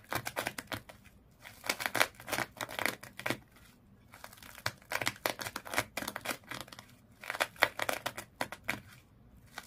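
Long nails scratch along the colored twisted sisal and jute rope wrapped around a small fish toy. Bursts of dry, bright rasping scratches come in quick clusters with short pauses between them, and the sound is crisp and crackly with little low end.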